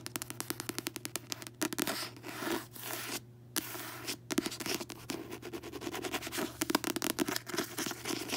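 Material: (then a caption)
Coated card. Long fingernails rapidly tap, scratch and rub the glossy card front cover of a closed paperback book. The result is a dense run of crisp, dry clicks and scratchy swishes with almost no ring, broken by brief pauses, over a faint steady low hum.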